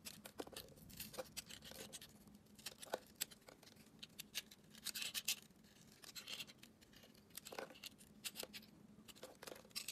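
A solid hand-sized bar of soap with a gold glitter coating and green stripes inside is held in one hand while a metal blade scrapes and carves its surface, flaking off chips. Quiet, bright scratching and crisp scraping strokes repeat with many short clicks and no ringing tail.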